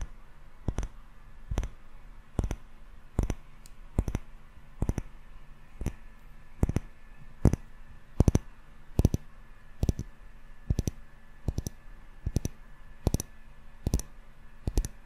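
A small glass jar candle full of solid yellow wax with a metal lid is turned in both hands and tapped with fingertips and short nails on the glass. Sharp, very short clicking taps come roughly once a second at an uneven pace over a low, steady hum, each with a bright tick and almost no ring.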